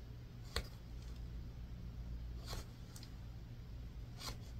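A palm-sized solid white bar of soap, held in one hand, is scratched and carved with a yellow multi-tined tool on a wooden handle, leaving visible shavings. Soft, crisp scraping strokes stand out against a low steady hum, with brief bright scratches at intervals.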